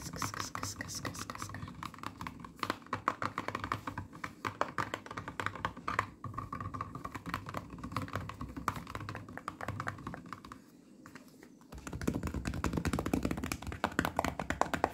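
Long nails and fingertips tap and scratch the printed sides of a full 1-litre cardboard orange juice carton, making rapid, crisp clicking taps mixed with dry scraping. The tapping runs steadily, dips into a quieter lull near the end, then returns as louder, denser scratching.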